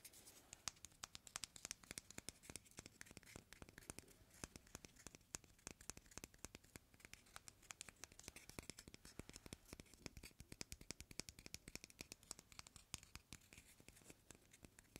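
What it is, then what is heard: Raw chicken egg shell. A whole, uncracked raw white chicken egg with a thin, hollow shell is held in both hands over a plastic mixing bowl of flour while fingertips and nails scratch, rub and tap its surface. A dense stream of quiet, very short, bright clicks and scratchy rasps runs throughout.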